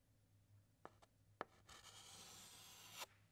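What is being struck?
Chalk stick on a chalkboard.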